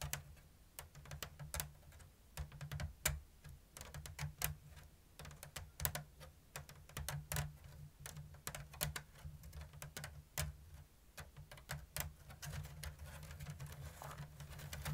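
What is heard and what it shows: Long blue nails tap and scratch a round, hollow basket woven from thin bamboo strips in an open diamond lattice. Dozens of short, dry, bright clicks land at a slow-to-medium, uneven pace, with brief rasping scratches between them. Each tap fades almost instantly over a steady low hum.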